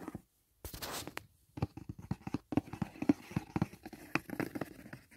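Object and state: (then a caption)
Cardboard gift box. Fingertips tap the lid of a closed white rigid cardboard gift box resting on a blanket, then nails scratch along the box's side wall. Dry, hollow taps with a low-mid body come in an uneven stream, mixed with a brief, bright scraping rustle.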